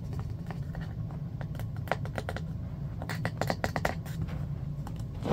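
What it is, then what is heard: Bamboo hairbrush, wooden back tapped and scratched. A hand-sized striped bamboo paddle hairbrush with black bristles and a solid wooden back rests on carpet and is then lifted while fingernails scratch and tap its wooden back. Quick, dry clicks and scratchy taps come in uneven bursts, thickening toward the end, over a steady low hum.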